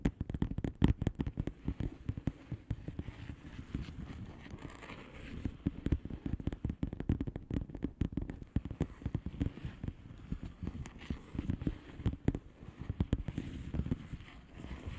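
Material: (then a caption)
Plastic. Long polished nails of both hands tap the bubbles of a flat, hollow plastic bubble-wrap mailer lying on a surface. The result is a dense, fast run of short, dry taps and crinkly clicks with almost no ring, mostly dull low thuds and little brightness.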